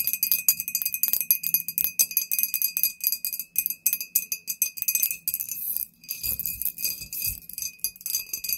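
Long painted nails of both hands tap rapidly on a tall, clear, embossed glass "Poison" bottle with a paper label, hollow and apparently empty, standing on a table; bracelets on the wrist may add a jingle. Quick, bright clicking taps with a thin, high glassy ring that dies away almost instantly, with almost no low end.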